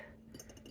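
Glass storage containers holding art supplies are tapped, giving a series of soft, bright clinks with a high ring. The taps are quiet and short, each leaving a brief glassy shimmer.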